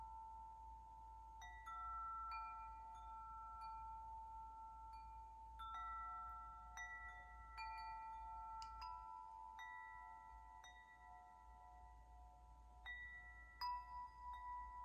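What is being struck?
Hanging metal tube wind chime.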